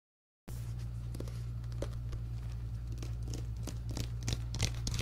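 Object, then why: Paperback book with card cover. A medium paperback book with an orange and yellow card cover and a solid stack of pages is held up in both hands while fingertips and nails tap and scratch the cover and the book is handled. After a brief silence, soft scattered taps and bright, dry scratching crackles sit over a steady low hum.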